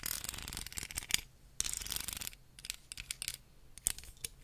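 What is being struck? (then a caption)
Wooden hair comb. Very long nails scratch and tap along the teeth and spine of a solid wooden hair comb, about 18 cm long, held close in front of the mic. Bursts of dense, bright, raspy scratching alternate with quiet gaps, punctuated by short, sharp clicking taps that die away almost instantly.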